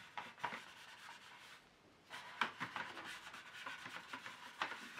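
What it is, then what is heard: Black plastic paint tray insert. Fingers press a folded tissue into the slots of an empty, hollow, ridged black plastic paint tray insert and rub along them. Soft, dry, papery rubbing and scraping is broken by brief sharper ticks and squeaks, with a quieter pause in the middle before the rubbing resumes.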